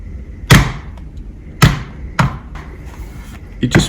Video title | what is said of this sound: Lenovo X1 Carbon 7 vs Dell XPS 13 (7390) 2019 hands-on | It just feels really cheap for some weird reason. That sounds metallic. I think it's done partially to the tiny rubber foot at the front.